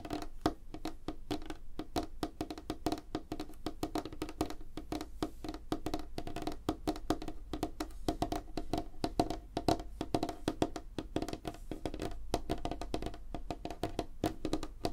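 Fingertips and short nails of both hands tap fast on a solid, flat, light-colored wooden tabletop, possibly laminate. The result is a dense, steady stream of short, dry knocks with a woody tone around 312 Hz that die away almost instantly.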